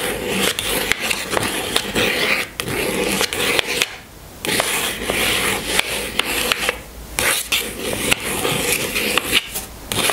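A long fingernail scratches and rubs across the top of a small pink cardboard box holding a bar of soap on a table. The result is a dense, bright, papery rasping broken by sharp little clicks, with brief quieter pauses around the fourth and seventh seconds.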